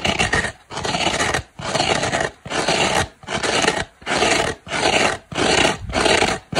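Long black nails scratch the green abrasive fibre scouring side of a dry, hand-sized oval polyurethane foam kitchen sponge with soft turquoise foam. About eight separate rasping strokes come in a steady rhythm. Each is a broadband, bright scratchy hiss with short silences between.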